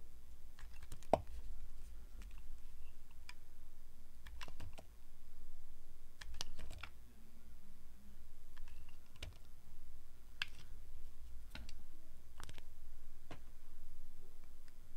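Hands with long red nails hold a solid, translucent orange glycerin soap block while a metal blade carves thin shavings from its face. Short, crisp, bright clicks and scrapes ring out irregularly over a steady low hum, each cut dying away almost instantly.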